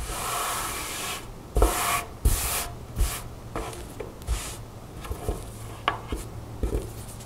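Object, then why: Satin blouse with lace trim. Long nails scratch the white lace trim and smooth fabric of a mint green satin blouse with a black strap, laid flat on a table. A steady, bright, hissing rub opens the clip, then gives way to about seven short scratching strokes, each starting with a soft low thump and fading into a brief rustle.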